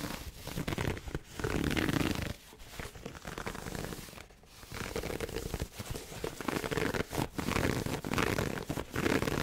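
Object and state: Pleated satin heart gift box.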